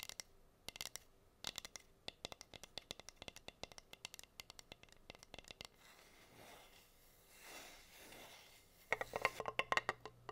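Long nails tap and scratch the bare wood of a plain, flat, solid wooden heart-shaped cutting board. A quick run of sharp, dry clicks gives way to softer, swelling scrapes, then a final burst of crisp taps and scratches. The sound is bright and thin, with almost no low end and no ringing after each hit.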